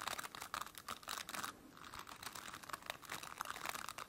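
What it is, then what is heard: Plastic bristle brush. Long dark-painted nails scratch and rub across the dense, flexible plastic bristles of a large white-blue plastic brush with a solid base. Quick, dry crackling scrapes come in bursts with a bright, papery edge, with a brief quieter stretch near the middle.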